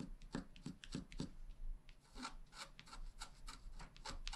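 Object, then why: Wax-coated scratch art card and wooden stylus. A pointed wooden stylus scratches short strokes into the bottom grass area of a flat black wax-coated scratch art card, about A4 in size, lying on a table and held down by one hand. A quiet, rapid series of dry, rasping scrapes follows, each with a low body and bright, gritty edges that stop almost at once.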